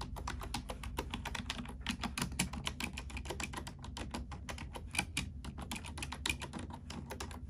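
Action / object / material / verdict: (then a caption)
tap / plastic computer keyboard / plastic / none. Fingertips and long nails of both hands type rapidly on a black plastic computer keyboard. The result is a dense, steady run of short, bright plastic clicks over a constant low hum.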